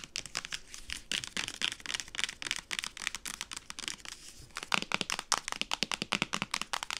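A medium-size, hollow white and blue plastic solution bottle with a printed label is held horizontally and tapped and scratched with long acrylic nails. The result is a rapid, dense run of crisp, bright clicks and scratchy, crinkling rasps with almost no low end. The taps grow sharper and louder in the second half.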